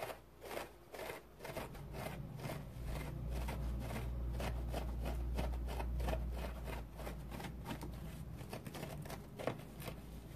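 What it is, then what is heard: Dry synthetic foam sponge scratched. A large, dry, porous yellow synthetic foam sponge resting on a towel is scratched with fingernails. Quick, somewhat uneven rasping strokes, roughly two to three per second, give short bursts of dry, papery scratching. A steady low hum runs underneath throughout.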